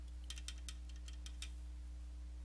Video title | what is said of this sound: Comparing Eaglemoss' XL Edition U.S.S. Enterprise (2009 movie) | on this complete version, for whatever reason, yeah, they do rattle a little bit